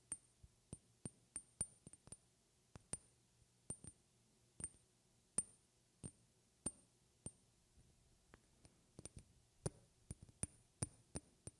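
A glass object is tapped, hard and soft, close to the microphone in 28 irregularly spaced taps over about 12 seconds. Each tap is a bright, glassy clink with a thin high ring that dies away almost at once. Louder taps alternate with softer ones over a quiet, low background hum.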